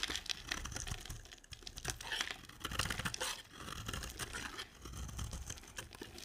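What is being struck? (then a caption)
Bar of soap. A hand-sized, solid green dry soap bar is held in one hand and shaved with a box-cutter blade, the rapid scraping and carving strokes shedding curly flakes. The clip is a continuous run of crisp, dry scraping and crinkling bursts with a bright, papery texture over a faint low rumble.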